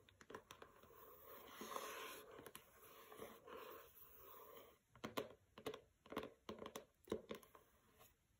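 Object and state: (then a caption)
Hardcover book with paper dust jacket. Long nails scratch and tap on a pink hardcover book with a matte paper dust jacket resting on carpet. A soft, papery scratching rustles through the first half, then gives way to a run of sharp, quick taps that die away almost instantly.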